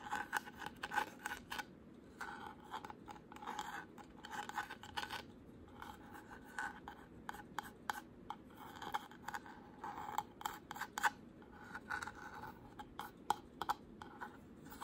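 Short pink nails scratch and trace along the carved flower relief of a solid, white-painted wooden panel. The result is a quiet, dry, raspy scraping that comes in irregular bursts of short strokes, with a mid-range tone and some brighter edges.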